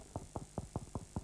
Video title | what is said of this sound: Video Nation Uncut: "Morning" - BBC2 - 20.11.1994 | if I knock it, you can hear that it's quite hard